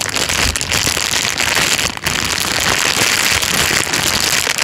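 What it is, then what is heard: Clear plastic bag. A thin, clear, transparent plastic bag is pressed flat, then lifted and crumpled with the fingers. It makes a dense, steady, bright crinkling and crackling that runs almost the whole time, with one brief lull near the middle.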